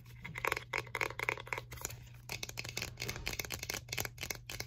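A small, round, plastic Infinite Aloe skin care jar with a green screw lid, apparently full, is held in the hands and tapped and scratched with long painted fingernails on its lid and sides. A quick series of bright, clicky taps mixes with scratchy rasps, with a low steady hum underneath.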